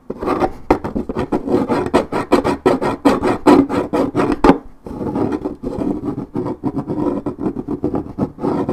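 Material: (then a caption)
Paperboard. Long red nails scratch the coated cardboard top of a 1.75 L Minute Maid paperboard orange juice carton, making rapid repeated rasping strokes. The dry scratching has a mid-range body with a bright edge, pauses briefly near the middle, then resumes a little softer.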